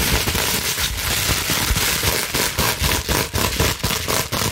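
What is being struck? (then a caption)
Plastic bubble wrap sheet. Long nails scratch rapidly across the bubbles of a clear plastic bubble wrap sheet held up in the air. The result is a dense, bright, continuous crackling with some low rumble, rising and dipping in loudness in quick, uneven bursts.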